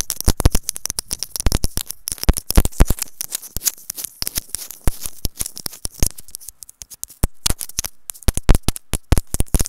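Long acrylic nails tap rapidly and continuously on a small white hollow plastic earphone inline microphone capsule. The sound is a dense stream of sharp, dry clicks, each with a brief low thump and a bright edge. The taps stop short with no ring, and the pace shifts between quick bursts and brief gaps.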